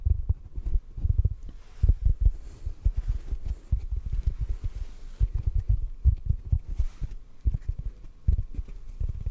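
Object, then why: Synthetic foam sponge block. A large, soft, solid yellow porous synthetic foam sponge block is held in one hand close to the mic and gently tapped with the fingertips of the other hand. The taps come as a rapid, irregular stream of soft, deep, muffled thumps that stop almost instantly, with nothing bright above them.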